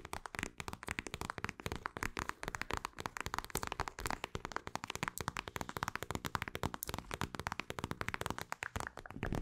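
A mint-green plastic eye mask filled with gel beads, with an elastic strap, is scratched and tapped with long acrylic nails. The result is a dense, steady stream of quick, dry clicks and scratches with no ring, centred in the low mids with some brighter crackle on top.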